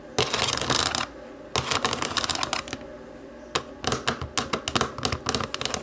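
Long nails tap the rubber buttons of a small, hollow black plastic remote control. Bright, rapid clicking comes in three bursts separated by short pauses, with the last burst made of more spaced-out, sharp taps.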